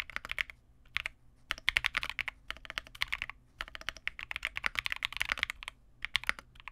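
A Vega65 65% mechanical keyboard with re-lubed Cobalt switches, white plastic keycaps and a dark case is typed on continuously with the fingertips of both hands. About 41 crisp, bright, short keystrokes centered near 2 kHz come in quick bursts with brief pauses between them. The clicks are dry, with almost no low end or ring.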